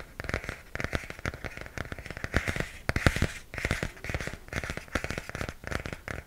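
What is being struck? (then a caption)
Hardcover comic book with glossy cardboard cover. Fingernails scratch and tap the glossy cardboard cover of a hardcover comic book held beside the face. A quick, uneven stream of crisp taps and crackly scratches is heard, each dying away almost at once, with dull low knocks beneath a brighter papery rasp.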